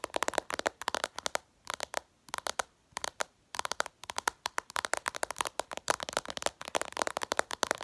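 Long purple nails tap and scratch fast on the glass screen of a smartphone lying flat. Rapid bursts of sharp, bright clicks sound with almost no low end, each dying out instantly, broken by a few brief pauses.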